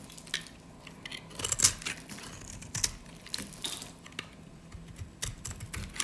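A metal utility blade cuts and scrapes pieces off the edge and face of a solid, light-green, rounded bar of dry soap held in the hands. The sound is a series of dry, bright crunches and scratchy scrapes with very short decay, set over a quiet, steady background.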